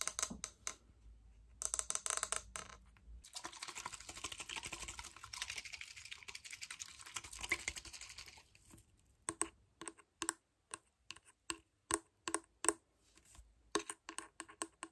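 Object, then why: Plastic bottle partly filled with sparkling water. Fingernails tap and scratch a small clear plastic bottle with a green screw cap, partly filled with fizzy water. Quick bright clicks open the clip, followed by several seconds of dense, hissy scratching. It ends with sharp, separate taps spaced out over the last six seconds.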